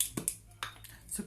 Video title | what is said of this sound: Live st valentin 14 février 2020 | parce que vous entendez bien. On secoue, on secoue.